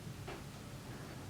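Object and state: Nothing is struck.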